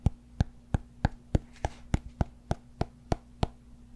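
Fingertips tap the broad face of a large, solid cork yoga block, with nails scratching it. Twelve short, dull, low thuds land at a steady pace, each with a brief bright click and almost no ring. A faint low hum sits underneath throughout.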